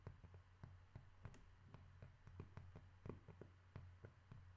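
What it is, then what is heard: Cork tapped. A cork object is tapped in a quick, irregular series of short, dry, muffled taps with almost no ring. A steady low hum runs underneath at a quiet level.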